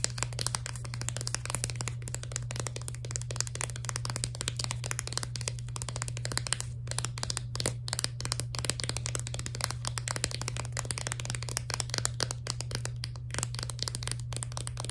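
Long nails rapidly tap and scratch a clear plastic blister pack holding four sticks of sidewalk chalk sealed onto a cardboard card. The result is a dense stream of sharp, bright plastic clicks and crinkly scratches, with a steady low hum underneath.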